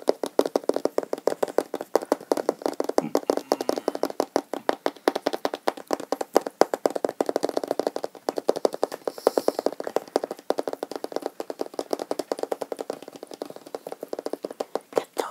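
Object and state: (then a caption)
Cardboard box. A small, hollow, printed cardboard Chromecast box is held up and tapped rapidly with fingertips and nails for about 15 seconds. The taps are dry, hollow and papery, sitting in the low-mids with almost no ring, in a steady, fast, uneven patter.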